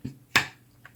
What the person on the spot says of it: The sheath itself, positive click. It stays in there nice and securely. There's no rattling. There's no tapping.